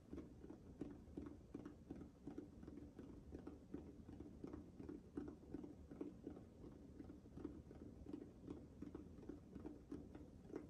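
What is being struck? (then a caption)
Small textured rubber ball. A small, hollow, orange-pink rubber sensory ball with a spiky, nubby surface is held in both hands close to the microphone while fingertips and nails tap and scratch its texture. About 34 soft, dull taps land at an uneven pace, with a hollow tone around 293 Hz and a quiet scratchy rustle between them. Each tap dies away quickly.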